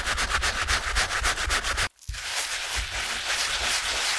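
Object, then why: Wet canvas shoe scrubbed with a stiff brush. A stiff-bristled brush scrubs the fabric upper at the wet canvas toe of a TOMS Cloud slip-on shoe resting on a towel. Quick, bright, rhythmic strokes of about three to four per second rasp for two seconds, stop for a brief silence, then resume as steadier, more continuous scrubbing.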